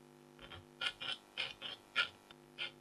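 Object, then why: Black-coated foil scratch art card. A red-handled stylus scratches a flat, thin scratch art sheet with a black coating over a metallic layer and a tiger design, lying on fabric and held by a hand with long blue nails. There are nine short, bright scraping strokes, some faint and some sharper, with quiet gaps between them.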